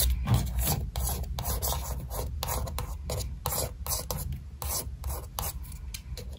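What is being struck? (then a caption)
Cardboard eyeshadow palette. Long white pointed nails tap and scratch the printed cover of a flat, thin cardboard eyeshadow palette marked "Dream with a Vision" as it lies on a table. A quick, uneven run of dry, raspy scrapes, each a bright hiss over a low, steady rumble.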